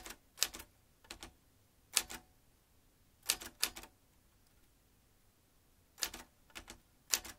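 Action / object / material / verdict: tap / metal manual typewriter / metal / none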